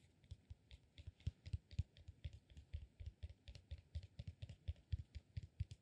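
A solid peanut-shaped cork massage ball is held in the hands and scratched and tapped with fingernails. Some thirty quick, dry, low taps come in an uneven stream, each dying away at once, with faint bright clicks over them.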